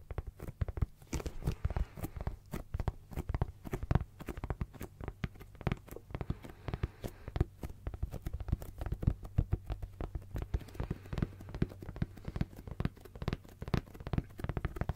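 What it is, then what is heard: Leather zip case. A medium-sized brown embossed leather zip pouch, hollow and held by hand, has its surface tapped and rubbed with fingertips. Many rapid, soft, muffled taps crowd together over a low, dull undertone, with faint sticky, crinkling rubs between them. The sound stays close and quiet, and each tap stops almost at once.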